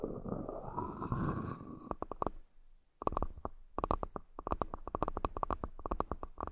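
A wooden accessory box is tapped repeatedly. The clip opens with about two seconds of a soft, broad rubbing or scratching texture. After a brief near-silent pause, a long series of quick, dry taps follows, each with a short woody knock around 1.1 kHz and almost no ring.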